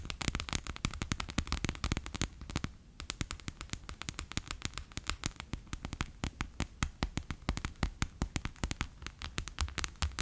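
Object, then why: Plastic pouch filled with water beads. A bear-shaped clear PVC pouch full of orange water beads, lying flat on a table, is rapidly tapped with fingertips and long nails. The taps come as a dense, fast run of short, sticky clicks with a low thump under them and bright, crackling tops. Each tap dies away almost at once.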